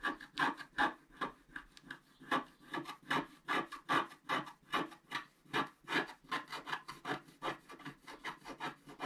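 A wooden stylus scratches a flat, coated scratch-art paper card held down by hand, with a paintbrush lying idle beside it. Quick, fairly regular back-and-forth strokes, about two and a half per second, make a dry, rasping scrape centered in the mids with a bright edge and almost no low end. Each stroke is short and stops cleanly.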